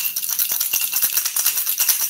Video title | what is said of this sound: Swimbaits, Big Baits, Equipment Explained......... With my little knowledge and experience | this thing is loud. The rattles in there and the knock on this thing are insane.